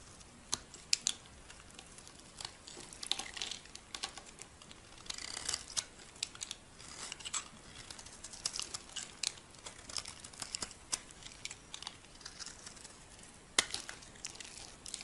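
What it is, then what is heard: Dry bar soap being shaved. A metal blade shaves flakes off a solid white embossed bar of soap held in the hand. Dry, crisp scraping and crinkling come in quick bursts, with sharp high clicks and ticks as the flakes break away. The sound is thin and bright, with almost no low end.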